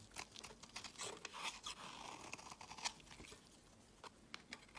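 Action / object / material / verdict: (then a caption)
scrape / bar of soap / soap / none. A solid pale yellow soap bar with an orange layer is held in the hand and scraped with a metal utility knife blade, shaving it into fine crumbly flakes. It makes a quick run of dry, crisp, bright scraping strokes with a crunchy texture, quiet overall and almost no low end, each stroke stopping short with no ring.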